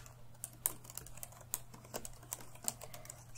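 Fingertips of both hands tap steadily on the plastic keys of an open laptop resting on a wooden table. Short, bright clicks come in an uneven patter at low volume over a faint, steady low hum.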